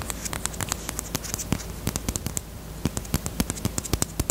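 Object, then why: Small hard plastic lip balm case. Long nails tap quickly on a small, closed, hollow pink hard-plastic Peep bunny-shaped chapstick case held close to the microphone. The result is a rapid, uneven series of sharp, bright clicks with a hollow, low body under them. Each tap dies away almost instantly over a faint steady background hiss.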